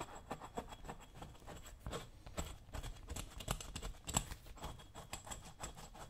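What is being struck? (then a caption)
Leather boot toe scraped with a metal chisel. A dull metal chisel is scraped and rubbed over the toe leather of a brown leather work boot worn on a foot. A quick run of soft, short scratchy strokes follows, each a dry rasp that stops almost at once over a low, quiet rumble.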